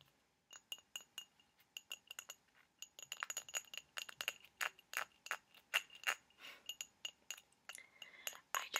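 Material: Ceramic.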